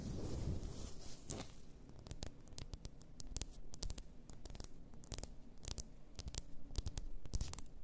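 Long nails tap and scratch the shoulders and neck of a large bottle, apparently glass, full of pink bath salt. A soft scratchy rustle at the start gives way to quick, irregular, sharp bright clicks over a quiet low hum.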